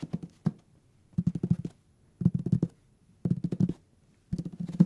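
Fingertips and nails tap the page edges and cover of a thick hardcover paper book. The quick taps come in short bursts separated by brief pauses, each tap a dry, low, dull knock with a faint bright click and almost no ring.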